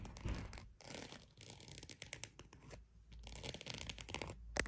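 A croc-embossed purse is tapped and scratched. Quiet, dry scratching bursts with bright, crisp edges alternate with soft, quick taps over a faint low rumble, pausing briefly between strokes. The taps and scratches die away almost instantly.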